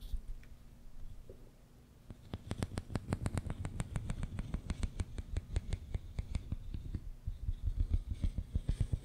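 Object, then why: Ribbed plastic corrugated tube. Fingernails scratch and tap along the ridges of a long, hollow, pink and white ribbed plastic tube, about 1 m long, laid across the microphone. After about two seconds of faint, low rustling, a rapid, steady run of dozens of short taps begins, each with a deep, boomy thump and a bright, crisp click that dies away almost instantly.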